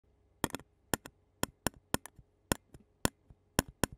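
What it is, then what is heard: Metal mesh microphone grille tapped with a plastic spoon. A clear disposable plastic spoon taps and scrapes the black metal mesh grille of a handheld Zoom recorder resting on a yellow surface. Short, dry, bright clicks come in an uneven series, some followed by softer quick rebounds, with almost no ring between them over a faint low hum.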